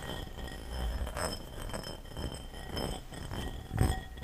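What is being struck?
Ceramic bowl.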